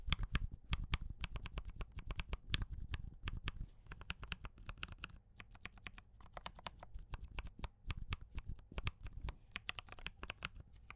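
Fingertips tap steadily on a compact mechanical keyboard with cream and red plastic keycaps and brown switches, mostly typed with one hand. Each keystroke gives a short, dry click with a low thud beneath and a bright top edge, in a fast, uneven typing rhythm for about eleven seconds.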